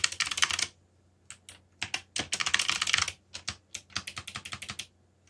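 Both hands type quickly with their fingertips on a backlit mechanical keyboard with black plastic keycaps. Bright, sharp clicks come in rapid bursts separated by short pauses, and each keystroke dies away almost instantly.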